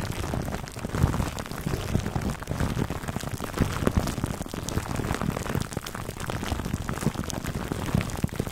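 Fingertips scratch and rub clear plastic cling film wrapped over a black foam microphone windscreen. The result is a dense, continuous crinkling rustle, heavy in the low end, with many small crackling pops and a few louder rubs throughout.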